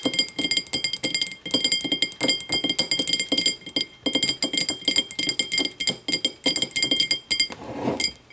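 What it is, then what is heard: Glass tumbler. Long matte navy nails rapidly tap and scratch the sides of a small, empty, clear glass whiskey tumbler with a thick base, standing upright on a wooden table. The result is a dense run of bright, short clinks over a steady high glassy ring near 3.2 kHz. Near the end the tumbler is tilted, and the tapping gives way to a brief, softer scratching swell before a few last clinks.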